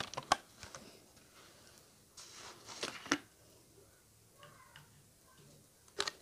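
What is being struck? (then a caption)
Thin plastic water bottle. A small, clear, hollow plastic water bottle with a blue cap, mostly empty, is held in front of a microphone and tapped with fingertips and nails. Sharp, bright, dry taps and clicks come in uneven bursts over a quiet background, with a soft rustling stretch in the middle and one last tap near the end.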